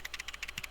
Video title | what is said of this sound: Gaming Handheld Showcase! | it might be air conditioner in the background but it rattles